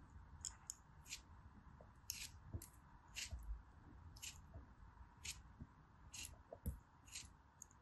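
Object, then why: Compacted kinetic sand block. A hand-sized, solid, compacted orange kinetic sand castle block, held in fingers with long pink nails, is sliced and scraped with a small green-handled knife. Repeated short, bright, crisp scraping bursts ring out over soft low thuds and a faint steady hiss. Crumbly pieces break off the block.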